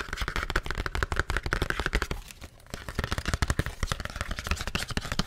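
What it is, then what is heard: Cardboard box tapped. Fingertips and nails tap rapidly on the face of a flat, thin, hollow, printed paperboard package for a paper-feel screen protector, a hand-sized box held in front of the mic. The taps come as a dense stream of dry, hollow, low-heavy knocks with very short decay and bright clicky edges. There is a brief pause near the middle before the fast tapping resumes.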